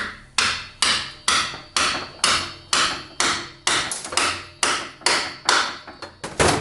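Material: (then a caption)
Steel. A new steel final-drive gear shaft is tapped in from the back side of a scooter transmission case with a hammer. About fifteen sharp, bright metallic taps come at a steady pace, each decaying quickly, until the sound changes to a solid hit. That solid hit shows the shaft is fully seated and good.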